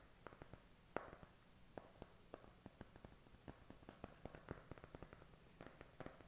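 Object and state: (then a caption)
Cardboard makeup palette. Short fingernails tap and scratch on the cover of a flat, thin, hand-sized eyeshadow palette covered in white cardboard. Nineteen quiet, dry taps land at an uneven pace, each stopping at once with no ring, with soft scratching between them over a low steady hum.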